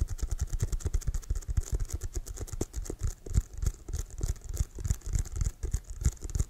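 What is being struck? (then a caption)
Leather American football. Fingertips tap and scratch quickly across the pebbled surface of a hollow, inflated brown leather American football with white stripes. The result is a fast, uneven stream of short, deep, hollow thumps, with a faint bright scratchy hiss between them.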